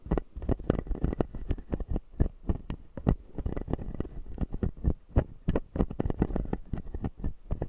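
A fingertip scratches the white plastic teeth of a closed, solid clear acrylic dental model. It makes a rapid, uneven run of short, dull scratching taps that are mostly low and muffled. Each stroke dies away almost at once, with no ringing.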